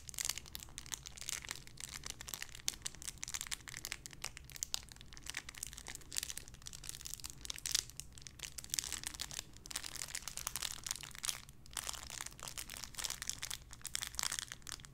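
A small clear plastic bag holding a pink paw squishy toy is crinkled and squeezed by fingertips and nails. Dense, bright, rapid crackles and crinkles run continuously for the whole clip over a faint steady low hum.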